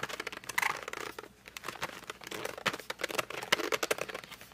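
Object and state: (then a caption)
Cardboard colored pencil box. Fingertips and short nails grip and rub the glossy front of a flat cardboard colored pencil box lying down. The result is a rapid run of bright, dry squeaks and crinkly scratches with almost no low end, each stopping short with no ring.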